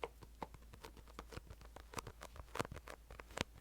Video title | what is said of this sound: BOOK ASMR 📚 Reading To You From My Favorite YA Novel of the 90's (soft spoken ramble + tapping) | does have kind of a Vinyl cover over it so it has that nice sticky sound